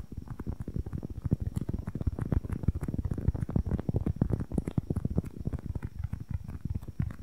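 A small, solid, soft polyurethane foam squishy cube, white with a red and green printed side, is held in both hands close to the mic and tapped and scratched rapidly with long nails. The result is a dense run of quick, dull, low thumps with almost no ring and soft scratchy patter between them.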